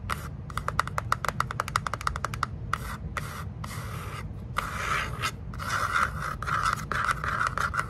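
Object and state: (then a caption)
Cardboard box. Long nails tap and scratch the sides of a small, closed, hollow kraft cardboard box held in the hands. It starts with rapid, dry, short taps, then turns into longer, rasping scratches that grow slightly louder. A steady low rumble runs underneath throughout.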